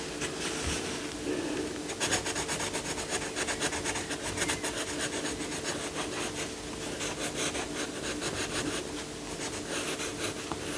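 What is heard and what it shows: A yellow coloured pencil shades the lion's face and chest on a paper colouring book page lying flat, rubbing in short, quick strokes. The clip is a continuous, bright, dry scratching that pulses with each stroke, over a faint steady low hum.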